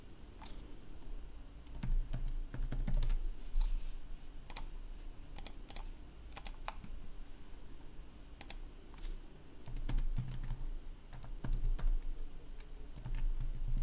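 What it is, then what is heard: Plastic laptop keyboard. Fingertips type steadily on a black plastic laptop keyboard, with a hand resting on the keys. Irregular bursts of light, sharp key clicks come and go over a low, steady hum.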